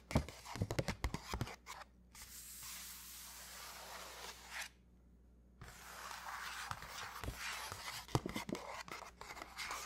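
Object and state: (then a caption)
Paper shopping bag. Fingertips wearing rings tap and scratch the front panel of a large black-and-white striped Sephora paper gift bag with rope handles, hollow and partly filled with pink tissue paper. Quick, sharp papery taps open and close the clip, with long, bright, hissy scratching strokes in between, broken by a short silent pause. A faint steady low hum runs underneath throughout.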